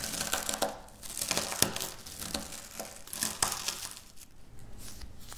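A pile of dry wafer biscuit crumbs on a stone surface is crushed and scratched with long natural nails. The sound is a dense run of bright, crisp crunching and crackling, with sharper snaps standing out among the steady gritty scraping.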